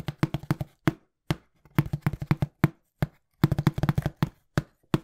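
Fast fingertip tapping on a small, hollow, brown printed cardboard shipping box. About 25 quick, dry taps come in uneven bursts with short pauses between them. Each tap is a dull, low thump around 150 Hz that dies away almost instantly.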